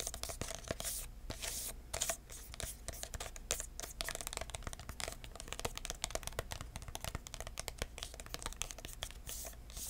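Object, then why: Paper-covered cardboard box. Fingertips tap and scratch the lid and sides of a small, hollow red paper-covered cardboard box with an embossed surface and metal corners. The result is a dense run of quick, dry taps and papery scratching with a bright, crackly edge and a faint low, hollow body.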